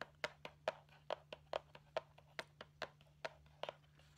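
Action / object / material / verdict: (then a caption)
tap / cardboard candy box / cardboard / none. A flat, rectangular See's Candies cardboard box with a Christmas stocking print, held upright, is tapped and scratched on its front with long painted nails. About 15 quick, dry taps with a hollow tone near 630 Hz fall in an uneven rhythm of roughly two per second, with soft scratchy brushing between them. A faint low hum runs underneath.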